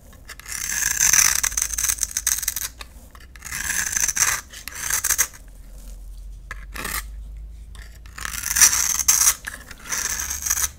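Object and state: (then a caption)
Bar of soap being scraped. A utility knife blade scrapes and carves a solid rectangular lime green bar of soap held in the palm, shaving it into thin shavings. Bright, raspy scraping comes in several long strokes separated by quieter pauses, with almost no low end.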